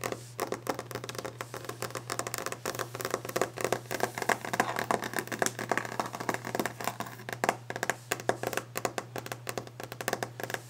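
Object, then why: Varnished wooden desk top tapped and scratched with fingernails. Long orange-painted fingernails of both hands tap fast and aggressively on a large, solid, varnished wooden desk top, with some scratching. The result is a dense, continuous stream of short, sharp clicks with very little ring, over a steady low hum.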